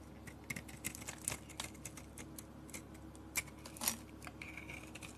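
A solid peach soap bar with a black coating, held in the hand, is shaved with a metal blade that lifts fine curls. Quiet, bright, crisp scraping ticks come in irregular bursts, each dying away almost instantly over a faint steady low background.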